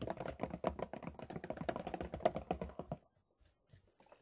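Fingertips tap rapidly on a large white plastic milk bottle, first held upright and then tilted sideways in the hands, giving a quick run of dry, hollow, mid-pitched taps for about three seconds. The tapping then stops, leaving near silence with only a few faint, soft touches.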